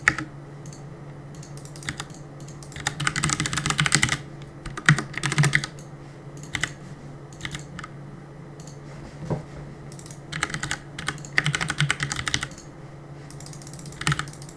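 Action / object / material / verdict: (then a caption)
tap / plastic mechanical keyboard / plastic / none. Fingertips press and tap the plastic keycaps of a black plastic CM Storm mechanical keyboard on a desk while gaming. Bursts of rapid, bright clicking clatter come in flurries, separated by brief pauses, over a steady low hum.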